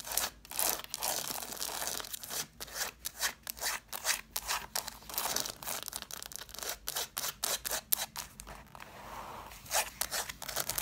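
Long black nails scratch the paper page edges and cloth covers of a stack of red cloth-bound hardcover books. The result is a fast, irregular run of dry, bright scratching strokes with almost no low end. Each stroke stops dead with no ring.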